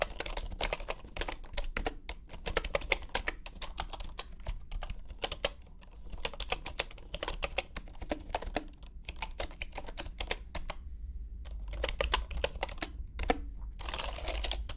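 Fingertips of both hands type on a full-size bamboo wooden computer keyboard resting on a grey mat. The result is a steady stream of short, bright, clicky keystrokes, with a brief pause near eleven seconds and a constant low hum underneath. The clip ends with a burst of broad noise.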